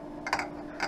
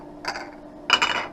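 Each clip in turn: First: A few light, high clicks from a polycarbonate eyeglass lens being rattled, each dying away almost at once. Second: Two brief bursts of light, crisp clicking as plastic lenses rattle together, bright and quick to die away.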